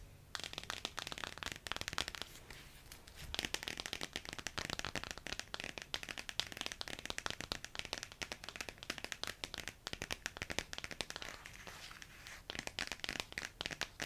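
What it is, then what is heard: Glossy paperback picture book cover. Long yellow-painted nails and fingertips scratch and tap the glossy laminated paper/card cover of a thin, flat paperback children's picture book, "The Wonky Donkey," held in both hands. The result is a dense stream of crisp, bright clicks and scratchy crinkles with almost no ring, mostly high in tone. There are brief softer lulls around 3 and 12 seconds.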